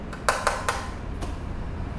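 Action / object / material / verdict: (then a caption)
tap / carbon fiber road bicycle frame / carbon fiber / none. Knuckle-style taps on the very light OCLV 700 carbon fiber frame of a Trek Emonda SLR road bike give three quick, hollow knocks with a short, dry ring centered around 1 kHz. A fainter tap follows about half a second later, over a steady low background hum.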